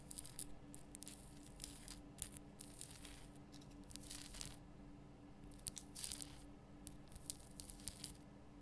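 Long fingernails scratch the top and sides of a large pink Himalayan rock salt lamp with a rough crystal surface. Quiet bursts of dry, bright scratching and crackling come and go with short pauses between them. A faint, steady low hum runs underneath.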